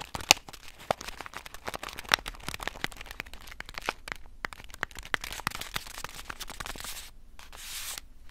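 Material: Foil laminate.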